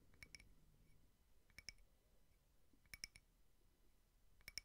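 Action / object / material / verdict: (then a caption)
tap / small frosted glass votive holder / glass / none. A small frosted glass votive candle holder with cake prints is tapped with fingernails, the tapping moving from slow to fast. Short, bright glassy clicks with a faint high ring come in small clusters over a quiet, low background hiss.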